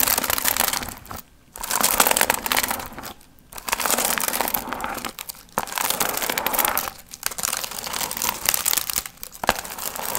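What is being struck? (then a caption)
Paper piñata with metallic foil fringe. Long nails scratch and crinkle the gold metallic foil fringe on a medium hollow paper pumpkin piñata. Dense, bright crinkling rustle comes in several sustained bursts separated by brief quiet pauses.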